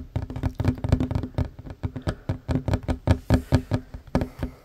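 Fingertips and short nails tap fast on a solid wooden tabletop, first with both hands and then with one hand. About 23 quick, dull knocks sound with a deep, low body, little brightness and almost no ring after each hit.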